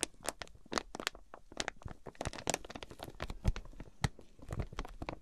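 Long pink nails tap and scratch the clear plastic wrap sealing a flat, tagged quilted fabric item that rests on a fluffy mat. The result is a dense run of quick, bright crinkles and crackles with soft low thuds under them, each sound dying away almost at once.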